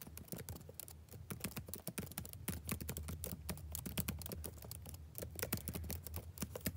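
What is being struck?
Plastic laptop keyboard.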